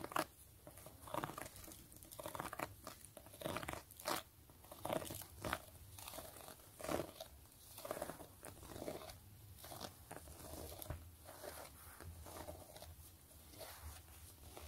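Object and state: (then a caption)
Faux leather wallet scratched and tapped. Long nails scratch and tap the textured face and edge of a closed, long zip-around gray quilted wallet of pebbled faux leather with a gold zipper, held in hand. The clip is quiet, with dry, crunchy scratching and crinkly rustles broken by sharper, brief taps that die away almost instantly.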